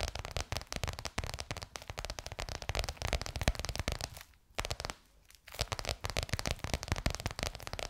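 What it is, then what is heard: Crocodile-embossed faux leather cover tapped with nails. Long nails rapidly tap a bronze-gold crocodile-embossed faux leather cover stretched over a curved hollow form. The dense, crackly clicks have a hollow low thump beneath them. The tapping briefly quiets twice, around the middle of the clip, before picking back up.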